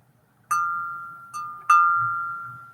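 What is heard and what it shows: A thrifted china teacup is pinged three times to check for cracks. Each strike gives a clear, chime-like ring near 1.2 kHz that decays slowly. The second tap is softer than the other two.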